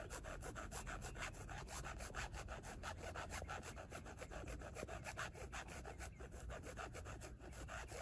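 Long nails scratch quickly back and forth across a flat black, hand-sized rigid plate with a twill carbon-fiber weave texture and corner screws. The result is a steady, rapid series of dry, raspy strokes over a low rumble, with a rough, sawing-like texture that holds an even level throughout.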